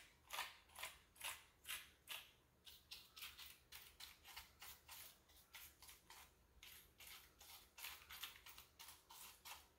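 Fingertips press and pick at the keys of a full-size black plastic keyboard with a hollow body, resting on a granite counter, with a small dark tool nearby. About 26 quick, bright, scratchy strokes come in a loose, uneven rhythm, each short and dry with little low end. The sound stays quiet throughout.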